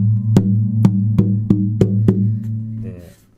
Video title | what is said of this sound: Martin 000-15S マホガニートップ000ギターの音は想像以上！ひび割れ修理、板厚計測、クリーニング、などなど | 他のお店とかで触ってこういい音がするギターってなんとなくこんな感じなんですよ。